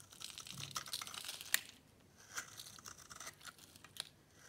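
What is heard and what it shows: A metal cutter blade scrapes and carves crunchy flakes off the edge of a solid, dry white bar of soap held in the palm. A steady, bright, crackly scraping builds over the first half, peaks in one sharp crunch, then gives way to quieter, scattered dry crunches and crinkles.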